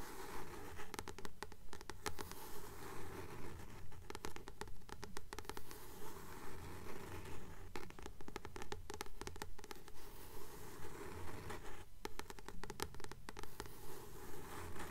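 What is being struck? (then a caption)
Paperback book with glossy card cover. Long nails gently tap and scratch the glossy card cover of a blue paperback book held upright, a solid paper book. The sound is a soft, steady rhythm of quiet tapping and scratching, about two strokes per second, with brief bright scratchy bursts over a low, dull thud.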